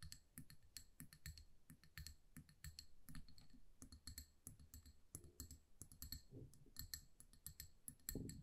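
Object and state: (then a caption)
Amber glass candle jar. Long nails tap rapidly over a hand-sized amber glass jar that is filled with candle wax and has a paper label. The result is a dense stream of quick, bright clicks, each with a short glassy ring, over a soft, low thump from the filled jar.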